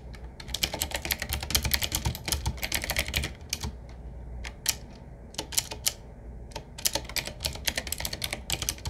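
Both hands tap with fingertips on a 7Keys retro typewriter-style mechanical keyboard, with round black plastic keycaps on a wood-trimmed frame. Quick bursts of sharp, bright clicks come in fast runs with brief pauses between them. Each click dies away instantly over a steady low hum.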